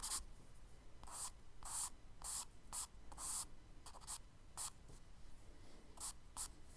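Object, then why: Charcoal stick on kraft paper sketchbook page. A charcoal stick held in the fingers scratches and strokes across a tan kraft paper page of a spiral-bound sketchbook lying flat on a dark desk, shading trees and a road. A quiet series of short, bright, papery scratching strokes is heard, separated by soft pauses.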